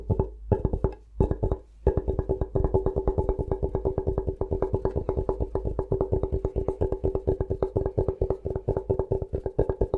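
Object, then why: Bamboo chopping board. Short-nailed fingertips scratch and tap the face of a thin, solid, flat rectangular bamboo cutting board held upright in front of the mic. A few quick bursts of dry, woody taps with brief pauses give way to a steady stream of rapid tapping. Each tap has a low thump and a hollow midrange knock that stops almost at once.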